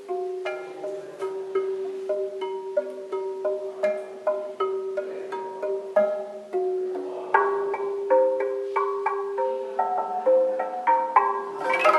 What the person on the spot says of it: Guia tirando um som das rochas calcárias, no PETAR - Núcleo Santana - Caverna Santana.